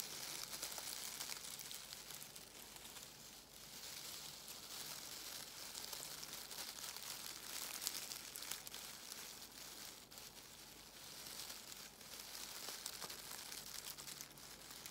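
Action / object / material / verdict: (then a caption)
scrape / crinkle-cut shredded paper filler / paper / none. A handful of black crinkle-cut shredded paper filler is squeezed and crumpled in both hands with long nails. A steady, dense crinkling and crackling fills the clip, bright and hissy with little low end, swelling and easing slightly as the paper is worked.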